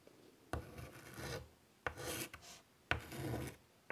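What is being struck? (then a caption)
Chalk on a wood-framed chalkboard. White chalk scratches flowing lines near the top edge of a large wood-framed chalkboard. Each stroke begins with a sharp tap, then becomes a gritty, raspy scrape with a bright hiss and some low body. Quiet pauses separate the strokes.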